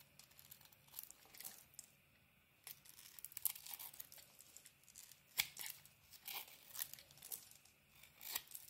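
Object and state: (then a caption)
Bar of soap being carved. A utility knife blade carves a solid blue bar of soap with a cream interior, shaving off pieces that fall onto the table. Quiet, bright, crisp scraping and crackling strokes come in short irregular bursts with brief pauses, and there is almost no low end.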